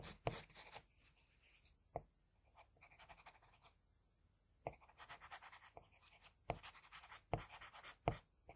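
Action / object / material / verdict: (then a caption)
scrape / graphite pencil on drawing paper sheet / paper / none. A hand draws fine strokes on a flat sheet of drawing paper with the graphite tip of a wooden HB pencil. Soft, dry pencil scratching comes in quiet bursts of quick, bright strokes with short pauses and a few sharper taps in between.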